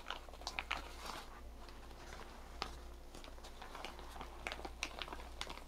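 A green and white striped plastic shower cap with an elastic rim is stretched, crumpled and rubbed with fingers and nails. The result is soft, continuous crinkling dotted with sharp, bright crackles and ticks, over a steady low hum.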